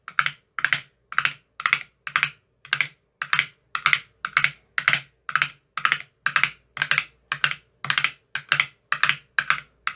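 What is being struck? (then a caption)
Plastic ice cube tray with silicone cups. A thin metal rod taps the cells of an empty clear plastic ice cube tray with green silicone cell bottoms. It makes a steady, slightly uneven series of short, bright clicking taps, each with a quick soft decay and a faint low thump underneath, about two taps per second.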